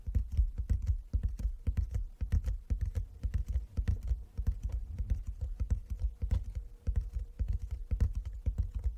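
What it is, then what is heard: Wooden chess board tapped with fingertips. Fingertips tap rapidly and irregularly on a wooden chess board, a box lined with fabric inside. The taps are soft, deep, dull thuds that die away almost at once, overlapping into a continuous pattering.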